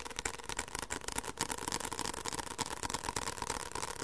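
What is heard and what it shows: Fingertips tap rapidly on the back cover of a white paperback book with a solid paper page block, close to the microphone. The taps come fast and unevenly, as short, dry, papery knocks with almost no ring and a steady tone near 900 Hz over a bright, crisp edge.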